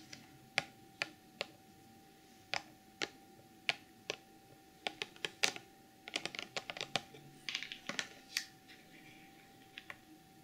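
Long metallic-polished nails tap and scratch the surface of a rectangular clear plastic BH Cosmetics glitter retail box with a printed cardboard sleeve, hollow and holding a sequin pouch and glitter jars. The result is a series of sharp, bright, dry clicks that die away almost instantly, spaced irregularly and bunching into quick flurries midway. A faint steady tone hums underneath.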